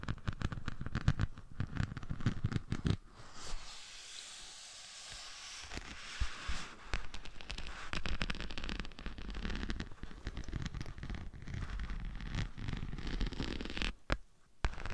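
A thin, flexible glitter craft sheet with a dark base and a green and blue glitter surface is draped over a dummy head microphone and scratched and tapped with long manicured nails. Dense, rapid crackling scratches and taps come through, with a softer, steadier hiss of scratching in the middle. The sound is crisp and close, weighted toward low thumps under a bright crackle.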